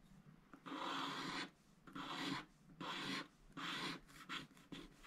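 A wooden stylus held in the fingers scratches the coating off a small shape on a flat, black, wax-coated scratch art sticker sheet of thin card, which lies on a grey mat while the other hand holds it still. The scratching comes in dry, raspy strokes with a bright hiss, starting with several long strokes and ending in shorter, quicker ones, separated by brief quiet gaps.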